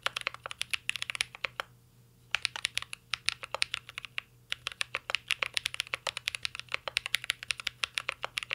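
Fingertips of both hands type steadily on a mint green Cyberboard R3 mechanical keyboard with a metal case and plastic keycaps. The result is a rapid stream of short, bright, crisp clicks centred around 2.2 kHz, with almost no low end. The typing breaks off briefly near 2 seconds and again near 4 seconds before resuming.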